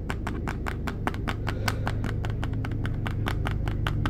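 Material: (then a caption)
Plastic. Fingertips and nails tap rapidly on the blue plastic lid and body of a plastic petroleum jelly jar that is full of jelly. The taps land as fast, somewhat uneven, short bright clicks over a steady low hum.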